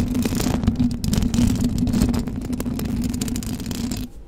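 Long blue acrylic nails on both hands scratch the hollow metal mesh grille of a silver condenser microphone. The result is a dense, continuous rasping with heavy low-end rumble and a steady hum-like tone around 220 Hz, and brief bright flicks appear throughout. It runs at an even level for about four seconds before dropping off sharply at the end.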